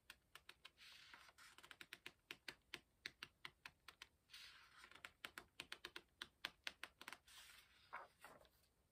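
Fingertips lift and flick the paper page corners of an open hardcover book, crinkling the paper. A quiet run of about thirty quick, dry, bright ticks is broken by a few longer papery rustles and crinkles. Each flick ends almost instantly with no ring and little low end.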